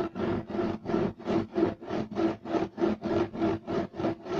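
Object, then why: Woven fiber loop-weave carpet. Two hands rapidly scratch their nails across a beige striped loop-weave woven fiber carpet. The result is about thirteen quick, evenly paced raspy strokes, each a dry rubbing burst with a mid-pitched fibrous hiss that stops short with almost no ring.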